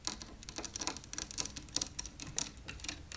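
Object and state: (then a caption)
Wooden chair frame, tapped. Fingers tap quickly on the carved wooden frame of a vintage chair, striking the blocks of wood set on its sides. The result is a rapid series of dry, clicky, tick-like taps with almost no ring, concentrated in the bright high frequencies.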